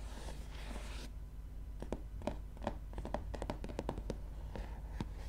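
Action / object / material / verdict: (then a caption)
tap / paper softcover book cover / paper / none. Long nails scratch across the paper cover of a gray softcover book, a soft, bright rasp for about a second. Then they tap and flick over the cover in a quick, irregular run of crisp little clicks. A low, steady hum sits underneath throughout.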